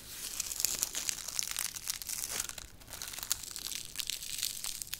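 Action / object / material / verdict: scrape / whole onion with papery outer skin / onion skin / none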